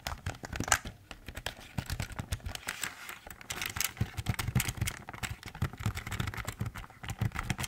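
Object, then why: Plastic computer keyboard. A full-size, hollow black plastic Logitech keyboard stands upright while fingertips tap its top media keys and edge. A rapid, uneven run of short, dry plastic taps mixes low hollow knocks with bright, crinkly clicks, each dying away almost instantly.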